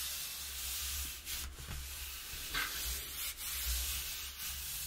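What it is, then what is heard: Cardboard box being scratched. Long nails and fingertips rub and scratch the inside of an open, empty, hollow corrugated cardboard box with a square cutout. A steady, bright, sanding-like scrape carries on throughout, with brief louder swells and a low rumble underneath.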